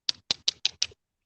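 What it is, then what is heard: Glassy-sounding flint flakes. Thin flint or chert flakes and chips left over from arrowhead making at an old knapping site clink together five times in quick succession. Each clink is a short, bright, glassy tick with almost no ring, and the stone sounds like glass.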